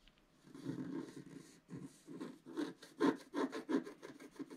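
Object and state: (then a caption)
Scratch art card being scratched. A wooden stylus scratches fine lines into a flat scratch art card (a black coating over coloured foil paper, about A4) lying on a table. A longer, continuous dry scrape is followed by a series of short, rasping strokes that come in quicker, uneven bursts and grow louder toward the end, with a gritty midrange and no ring after each stroke.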